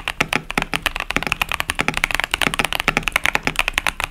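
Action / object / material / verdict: tap / plastic mechanical keyboard with tactile switches / plastic / none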